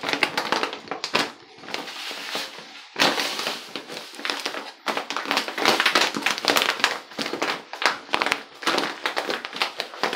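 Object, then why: Plastic pouch of Epsom salt. A medium-size, full-looking Dr Teal's resealable plastic pouch of Epsom soaking salt is held in both hands and squeezed and crinkled with the fingertips. Dense, bright crackling and crinkling comes in uneven bursts throughout, with almost no low end.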